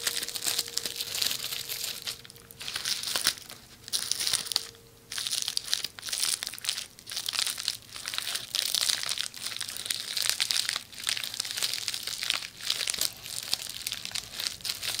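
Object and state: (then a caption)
Plastic bubble wrap being scratched. Long nails scratch and tap the bubbles of a rolled red plastic bubble wrap roll held low beside the microphone. The result is a dense, bright crinkling and crackling with quick ticking taps, running almost continuously with a few brief pauses.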